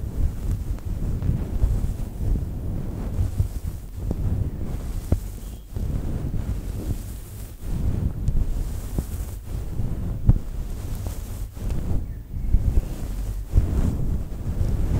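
Long nails scratch a fluffy faux fur microphone windscreen made of synthetic fur, and hands cup it. The result is a steady, muffled low rumble, like wind buffeting a microphone, with soft swells and brief dips and a few faint clicks on top.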